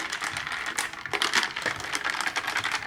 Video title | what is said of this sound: วิธีชงไมโล สูตรรถโรงเรียน - อาจารย์เกษม รีวิว | ตอนนี้เขย่าก็จะเสียงดังเลย